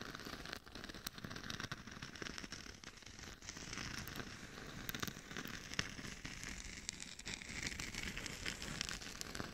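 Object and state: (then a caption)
Glitter-coated mannequin head scratched with nails. Long nails scratch the sides and cheeks of a hollow, glitter-covered mannequin head used as a microphone. A dense, steady crackling fills the clip, with many quick bright scratches over a low rumble. The texture sounds close and gritty.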